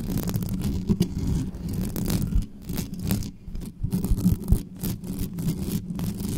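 Long nails scratch fast and hard across the bare grille and body of a dark metal USB condenser desktop microphone with no cover. The result is a dense, rumbling scrape that is heavy in the low end, with brief brighter rasps as the nails drag across the metal.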